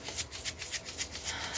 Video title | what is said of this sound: Archons 🦎 what Are they?+Energy vampire Cord Cutting-Crystal tapping ASMR & Crystal Aura pulling | And also we are going to do some shaking of the pink Himalayan sea salt here